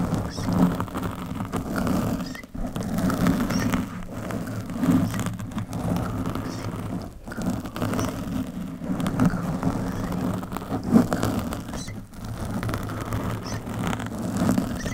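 Long metallic nails on both hands scratch and rub the surface of a black foam windscreen on a microphone, making a steady, low, muffled rustling and scraping. Soft irregular scratches continue throughout with a few brief pauses.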